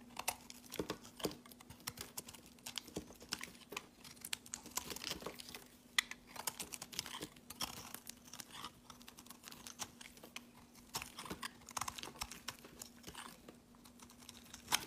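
A solid pale green rectangular bar of soap is held in the hand and shaved and scraped along its edge with a utility knife blade. The result is a quiet, continuous run of crisp, bright scratching and crinkly shaving sounds. A faint steady hum sits underneath throughout.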